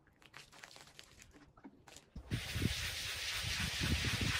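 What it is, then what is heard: Wet pile rug being scrubbed. A small, wet, Persian-style woven pile rug of wool-type textile, about 1 m long, lies flat on a soapy plastic sheet while a kneeling man scrubs its pile back and forth with a handheld scrub brush. Quiet, scattered wet rustles and crinkles give way after about two seconds to a loud, continuous, bright scrubbing hiss with soft low thumps from each brush stroke.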